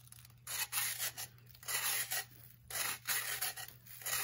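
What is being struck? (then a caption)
Compressed baking soda block. A knife blade scrapes and shaves repeatedly across a solid, blue-tinted pressed baking soda block held on a wooden table, with loose powder falling around its base. Each stroke is a bright, gritty rasp in uneven bursts separated by short quiet gaps, over a faint steady low hum.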